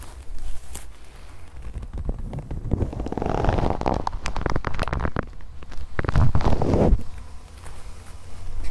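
A soft, flexible brown leather (possibly faux leather) jacket sleeve, held in the hands in front of a handheld recorder, is crumpled and rubbed with long nails and fingertips. It gives a steady stream of low, muffled creaking and rustling with quick scratchy ticks, swelling louder around the middle and again near the end.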